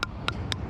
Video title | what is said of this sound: Shucking Oysters Summer 2025 | there'd be a hollow sound of the shell cuz there there's no moisture in there, no liquid